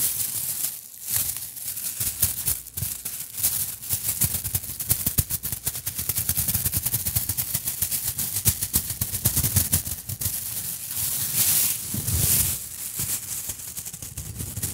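A thin, empty white plastic bag is held close to the microphone and crinkled and squeezed with the fingertips of both hands. Dense, bright crackling and rustling runs throughout, with rapid sharp crinkles over a low, soft rumble of handling.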